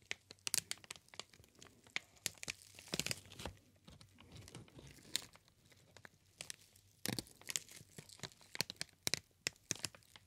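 Hands squeeze and crinkle a green inflated plastic air cushion packaging sheet, making quiet, bright crackles and sharp crinkling snaps that come in irregular clusters. The snaps stop almost instantly, with soft rustling between them and very little low end.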